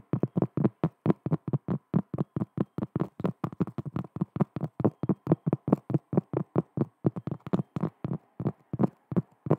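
A round, thin, solid cork coaster held in both hands is tapped and scratched across its face with long fingernails. About 44 quick, dull, low-pitched taps come in a steady, even rhythm, each dying away almost instantly, with a faint scratchy hiss between the last few.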